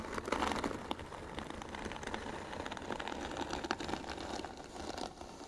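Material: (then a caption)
Wood. Fingernails scratch across the flat lid of a closed, hollow white wooden box. A dry, rasping scratch sound with many small clicks and crackles continues steadily, mostly in the mid range.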